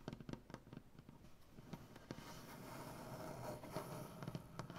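Fingernails on both hands tap and scratch across a solid, light maple butcher block tabletop. Quiet, sharp clicks with almost no ring are scattered irregularly over a soft, continuous scratching hiss that grows slightly louder toward the end.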